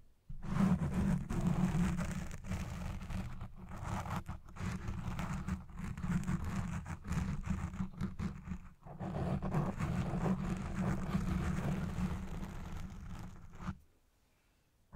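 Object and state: Foam microphone windscreen being scratched.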